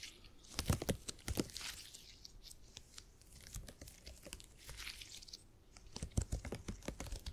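A purple elastic polymer grid piece from a gel grid cushion is stretched apart and squeezed between fingers. Quiet, sticky tearing and crinkling crackles come in clusters of sharp clicks, strongest near the start and end, with a faint low rumble and bright hiss underneath.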